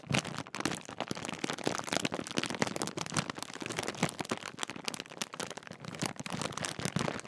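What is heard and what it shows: The top edge of a large Walkers crisp bag made of metallised plastic film is crinkled and squeezed with fingertips. This produces a dense, continuous run of sharp, crisp crackles that are bright and broadband, with little low end and almost no ring after each snap.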